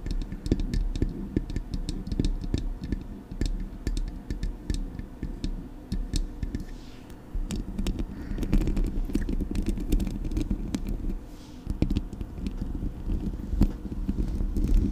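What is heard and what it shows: Long acrylic nails tap the body of a Blue Yeti microphone, then scratch its metal mesh grille, giving a steady stream of quick, dull clicks and scraping with little high-frequency content.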